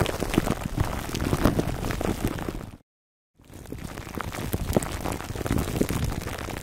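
Fingertips of both hands scratch and squeeze clear cling film wrapped around a black foam microphone windscreen, producing dense, irregular crinkling and crackling with a heavy low-end rumble. The sound cuts to total silence for about half a second near the middle, then the crinkling resumes at a similar level.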